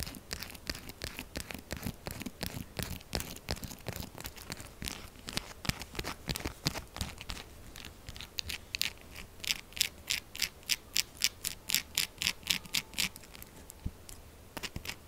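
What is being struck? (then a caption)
Textured bar of soap. Long acrylic nails scratch quickly and roughly across the textured side of a solid pink soap bar. The result is a dense run of short, bright, crunchy scratches that get sharper and more evenly spaced in the second half.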